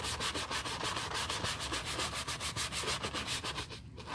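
A wooden-handled horsehair brush scrubs a foam-covered black leather Chanel bag lying on a towel. It makes a steady back-and-forth rubbing with bright, hissy bristle swishes, about three and a half strokes per second, that stops briefly near the end.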